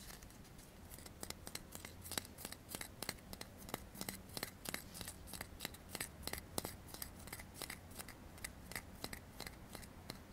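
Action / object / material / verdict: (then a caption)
tap / metal aerosol can / metal / none. A hand-sized metal aerosol deodorant can with a blue cap is held in both hands while fingertips tap and scratch on its metal side and bottom end. A steady run of quiet, sharp, bright clicks with no ring sounds over a soft scratchy hiss and a faint low hum.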